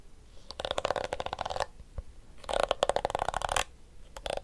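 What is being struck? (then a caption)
Plastic hairbrush with flexible plastic teeth. The pink flexible plastic teeth of a small blue plastic detangling hairbrush are strummed and scratched with fingertips and nails. Two dense bursts of rapid, dry plastic clicks and flicks carry a faint twangy tone around 570 Hz. A lone tick falls between them, and a short flurry follows at the end.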